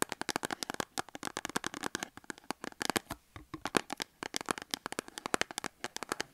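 Long acrylic nails tap and scratch a small cardboard soap box standing on a table with a bar of soap inside, before the hands lift away at the end. A quick, steady stream of dry, sharp clicks and papery scrapes, bright and crisp with little low end, each tap stopping almost instantly.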